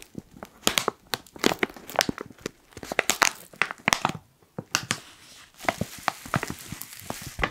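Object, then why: Foil coffee pouch. A black foil coffee pouch is crumpled and crinkled with fingertips, producing dense bursts of sharp, bright crackling with no ring. The crinkles come in irregular clusters, with a brief quiet gap shortly after the midpoint before the rustling resumes.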